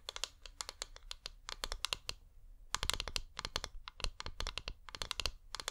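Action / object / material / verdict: tap / wax-coated flameless LED pillar candle / wax / none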